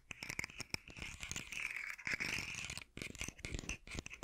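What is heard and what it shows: A hollow, rainbow-segmented hard plastic articulated fidget slug toy, held upright in one hand, is scratched and tapped along its segments with fingertips and nails. The result is a dense stream of bright, dry scratches and quick clicky taps with almost no ring, concentrated in the high range with a resonance near 2.4 kHz.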